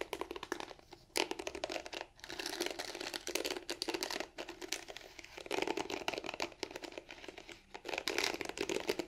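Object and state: Plastic hairbrush bristles.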